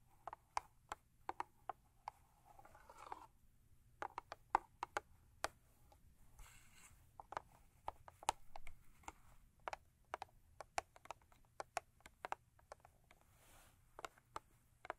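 A thin cardboard Crest toothpaste box lying lengthwise is tapped and scratched on its sides with long nails. Dozens of quiet, sharp, dry clicks land in an irregular rhythm, centered on a hollow tone around 860 Hz, with brief rustling scratch passages that reach up bright. A faint steady low hum runs underneath the whole time.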